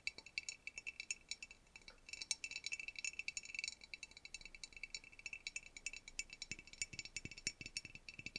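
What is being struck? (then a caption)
Pressed-glass dish. A medium rectangular clear pressed-glass dish with ribbed and dotted relief, hollow and empty, is held in both hands and scratched and tapped along its ridges with fingertips and short nails, the fingers wearing metal rings. It makes a quiet, rapid stream of dozens of bright, dry clicks and scratchy rattling ticks that stop almost instantly, with almost no low end. Some louder, sharper taps stand out toward the end.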